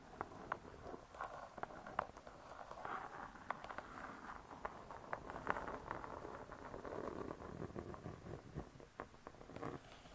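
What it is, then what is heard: Laminated hardcover book cover. Long nails tap and scratch the laminated board cover of a closed spiral-bound hardcover cookbook. Quick, light taps mix with a steady scratchy rustle, centered in the midrange with little bass and only a faint high edge. The result is a soft, dense patter that runs throughout with occasional sharper clicks.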